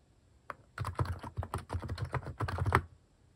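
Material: Plastic.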